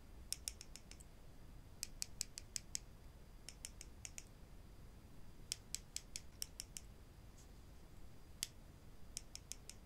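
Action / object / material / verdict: knock / wooden spring clothespins / wood / none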